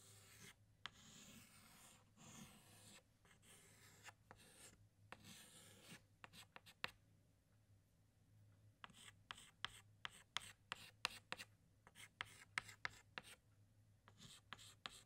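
An orange chalk stick held in the fingertips draws a flower outline on a large, flat black chalkboard. Long, bright scratching strokes give way to a run of short, sharp chalk taps and ticks, over a faint steady low hum.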